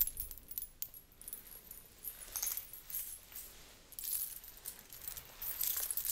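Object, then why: Fabric hip scarf with small thin metal coins. A blue fabric belly dance hip scarf covered in many small, thin metal coins is held up and shaken by hand, then gathered close to the microphone. The coins give off quiet, bright, high jangling in uneven bursts with very short ring, growing louder and denser near the end.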